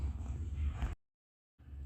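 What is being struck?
Nothing is struck.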